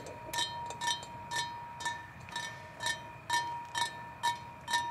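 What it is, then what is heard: Hollow metal pipe. Fingertips and nails of two hands tap and knock on a hollow, white-painted metal playground pipe with chipped paint and a flared open end. Each knock gives a short metallic ping with a clear tone near 950 Hz, ringing overtones and a bright click on top, repeated in a fairly steady rhythm of about two per second.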